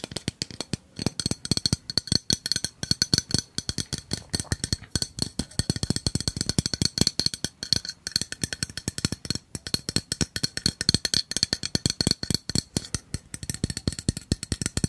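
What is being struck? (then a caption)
Metal gas refill can. A tall, hollow yellow metal aerosol-style gas refill can with a red plastic cap is held in one hand and tapped rapidly with the fingertips and nails of the other. The result is a dense, continuous stream of quick, clicky taps with a bright, high metallic ring that dies away almost instantly after each hit.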